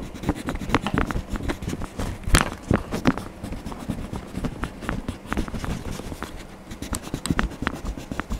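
A hand rubs a yellow wax crayon back and forth across a Donald Duck page of an open paper coloring book lying flat on a desk. A steady, low scratchy rubbing of crayon on paper is heard, broken by many short strokes and a few sharper ticks, with dull, low-heavy strokes that stop almost at once.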